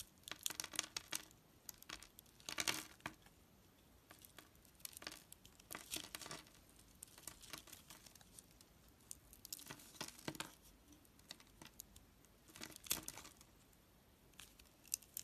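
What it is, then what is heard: Soap bar being carved. A blade scores a grid into a solid, hand-sized oval soap bar with a gold coating and white inside, then flakes off small cubes. Quiet, bright, crisp scraping and crackling comes in short bursts separated by near-silent pauses.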